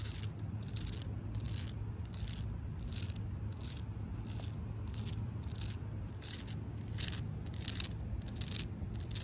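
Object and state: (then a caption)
Tree bark. Long pink acrylic nails scratch the rough, flaky bark of a solid tree trunk in quick, repeated strokes. Each stroke gives a short, bright, crackly scrape, heard over a steady low rumble.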